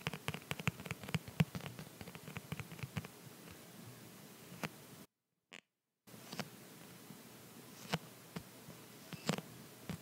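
Fingertips and nails tap and press on a clear, rubbery plastic phone case with a dotted back, held in one hand, using sticky fingers. Quick, dull taps with soft clicky edges come in a rapid cluster, then scatter, with faint tacky sounds between them. The sound cuts out briefly near the middle before the taps resume.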